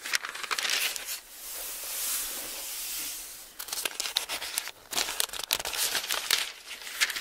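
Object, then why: Book with thin paper pages. Fingers lift and turn the thin pages of an open bible, and a page crinkles as it is folded over. Bright, papery crinkles and crackles open the clip, give way to a smooth, airy swish as a page sweeps across, then return as a run of crisp, rustling snaps.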